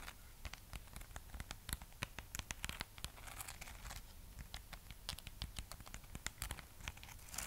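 Long nails scratch across the rough, glittery wax coating of a solid, hand-sized red waxed amaryllis bulb. The result is a steady run of dry, crackly scratches and short bright clicks over a low rumble, each sound dying away almost instantly.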